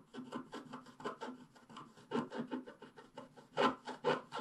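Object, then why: Coated scratch-art paper scratched with a wooden stylus. A wooden stylus scratches the coating at the lower left of a flat scratch-art paper page while the other hand holds the page. About fifteen short, uneven rasping strokes are heard, each a dry, bright scrape centered around 1 kHz that stops almost at once. The strokes come quickly in an irregular rhythm and get louder toward the end.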